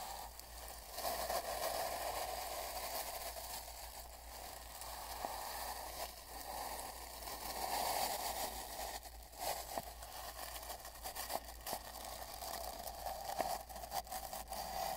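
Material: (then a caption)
Cardboard. A wide wooden-handled paint brush is brushed and dabbed across a long, hollow, empty brown cardboard mailing tube with tape bands, lying on a bedsheet with a microphone inside and a recorder in front. The result is a steady, scratchy rustling with a hollow, boomy resonance around 700 Hz that swells and fades with the strokes. Occasional soft dabbing taps punctuate the brushing.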